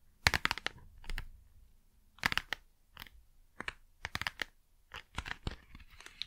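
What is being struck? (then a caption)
Small cardboard box. Long nails tap and scratch the front of a small, hollow cardboard Blu Tack box as it is moved around the mic. The sound comes as clusters of short, dry, bright clicks and scratchy, crinkly rasps with gaps between them. There is no ring after the hits, and a faint low hum sits underneath.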